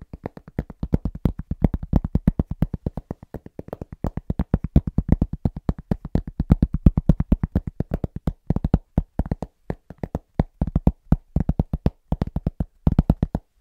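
A round, flat, solid cork board or trivet about 25 cm across is held upright close to the microphone and tapped fast and rhythmically with the fingertips of both hands. The result is a quick, uneven patter of short, dull, low thuds that die away almost instantly and have little bright edge.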